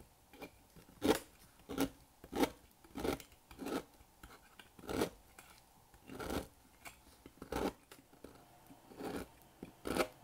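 A thin blade slices a solid square black bar of dry soap, held in the fingers over a table, into long brittle shards. Each cut is a short, dry, crisp scraping crunch with a mid-range body and a bright edge, dying away quickly. The cuts repeat at an uneven pace with quiet pauses between them.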